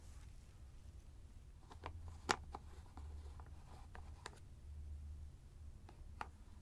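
Fingertips and nails tap and scratch a large white plastic screw cap on top of a teal fabric ice bag held in one hand. Quiet, sparse, sharp clicks with a hollow tone around 830 Hz stand out over soft scratching and a low background rumble. Each tap dies away almost instantly.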